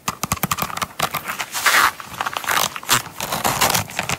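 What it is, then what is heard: Coated canvas wallet. A small closed Coach coated-canvas zip wallet is held and laid on a mat while long nails tap and scratch its front and zipper side. Quick, crisp clicking taps come in rapid runs, broken by brighter, hissing scratch strokes across the coated surface.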